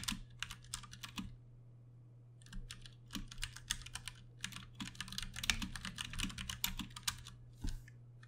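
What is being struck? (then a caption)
Plastic mechanical keyboard keys. Fingertips of both hands type steadily on a Ducky One 2 Mini, a compact 60% backlit plastic mechanical keyboard with Cherry MX Brown switches and plastic keycaps. Bursts of quick, bright, clacky keystrokes pause for about a second near the start before resuming. A steady low hum sits underneath.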